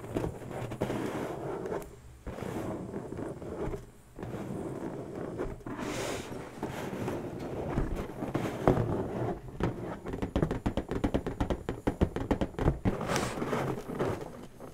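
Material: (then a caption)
Latex. Long natural nail tips scratch across an inflated, hollow pink latex balloon, making a steady rustling scrape with brief pauses. Later, a quick run of crisp taps follows, each with a short, dull, low thump. The hand then rests on the balloon.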